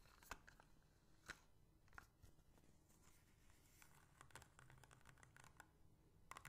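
A small, empty, hollow clear plastic bottle with a white cap is rapidly tapped with long painted fingernails, both while held and while standing upright on a table. Sharp, bright clicks and taps sound over a soft, low rustling background, with a few louder ticks standing out.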